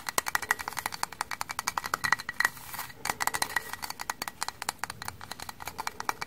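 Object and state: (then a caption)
Frozen kitchen sponge, frozen stiff. Frozen-stiff kitchen sponges are tapped rapidly. Because they are frozen, they give dozens of quick, hard, dry clicks instead of soft sponge sounds, each bright and very short, with a faint ringing tone near 2 kHz over a quiet background.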